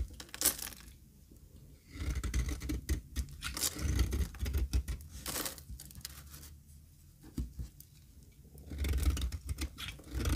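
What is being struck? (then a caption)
Bar of olive oil soap. A metal utility blade scrapes across the stamped face of a solid, square, dry cream olive oil soap bar held in the hand. It makes dry, crumbly scraping and tearing sounds in irregular bursts with a heavy low-end rumble, separated by quieter pauses.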